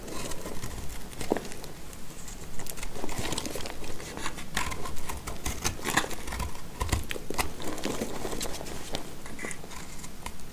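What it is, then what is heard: Dry soap bar being cut. A solid, dry white soap bar held in the hand is cut with a black utility knife blade, breaking chunks from it. Dense, crisp scraping and crumbly crackling run throughout, punctuated by many sharp, bright snaps as pieces crack off.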